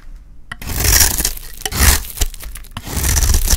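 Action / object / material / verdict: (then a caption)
scrape / bar of soap scraped with a blade / soap / none. A hand-sized, solid rectangular bar of dry yellow soap, held in one hand, is scraped and shaved with a small utility blade while the shavings pile up. After a brief quiet start, there are dense, crisp tearing and scraping strokes with bright, crumbly detail over a low rumble. Sharp clicks cut through as the blade bites in.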